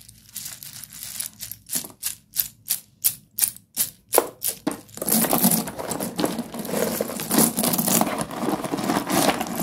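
Bare hands rummage through a large pile of small broken white slate pencil sticks (solid stone, a few cm each) in a shallow cardboard tray, scooping and squeezing them. Faint ticks give way to a steady run of sharp, separate clinks as the pieces knock together. After about five seconds this becomes a dense, continuous bright crunching and rattling.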